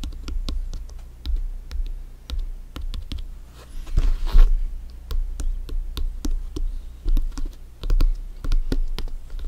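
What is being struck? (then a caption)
Inflated synthetic leather soccer ball. A full-size inflated hollow soccer ball with stitched synthetic leather panels is tapped and scratched with bare fingertips and nails. Rapid, irregular light taps sound with a low, hollow thump and short clicky tops. A brief scratchy rustle rises around the middle of the clip.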